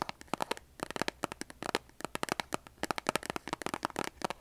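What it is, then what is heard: Cardboard matchbox. Long nails tap and scratch a large cardboard box of kitchen matches with a striker strip. About two dozen sharp, dry clicks and brief scratchy strokes come in quick, uneven bursts. Each one is mid-pitched with a bright edge and dies away instantly.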